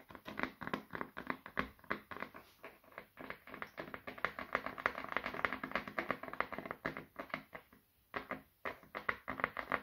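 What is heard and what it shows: Fingertips and short nails tap repeatedly on the back of a small, solid brown wooden oval brush held in both hands, meant to help reduce stress. The quiet, dry taps come in quick, uneven clusters with short, woody mid-range clicks that die away almost instantly. There is a brief pause just before the last two seconds, then the tapping resumes.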